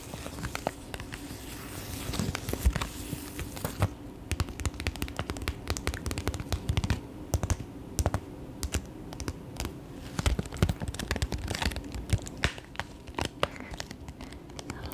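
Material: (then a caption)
Metallised plastic. A small holographic mylar foil pouch is held in both hands and tapped and crinkled with fingertips and nails. The result is a steady stream of quick, dry taps and crinkly rustles for the whole clip, each sound cutting off almost at once. A soft low rumble sits underneath.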